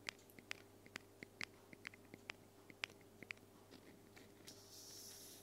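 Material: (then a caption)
Aluminum. A small white-grey hollow aluminum aerosol spray can, held upright beside the recorder, is tapped with long fingernails, giving about 18 quiet, sharp ticks at an uneven pace. The clicks are bright and dry, centered around 2.4 kHz, and die away almost instantly. A soft, steady high hiss rises in the last half-second.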